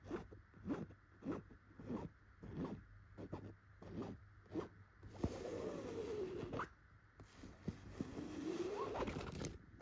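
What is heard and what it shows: Very long pointed gold nails scratch and tap a soft, filled yellow pillow with tufted chenille dots. Short, quick scratchy strokes come in an uneven rhythm, then give way to two longer, sustained rasping scrapes.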